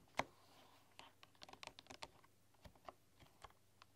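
A full-size bamboo keyboard with a light wooden frame and solid bamboo keys is typed on with fingertips and long, dark-polished nails. Short, dry taps and clicks come in an uneven run, with one louder opening tap followed by about a dozen quick strokes that barely ring out.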